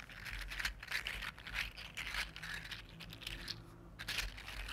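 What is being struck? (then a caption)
3D printed jointed plastic slug toy. A regular-size red-gold 3D printed plastic articulated slug lies on a table while one hand wiggles it with the fingertips. Its jointed segments give off a quiet, steady stream of bright clicks, crinkly rattles and sliding scrapes against the surface, rising and falling in short bursts over a faint low hum.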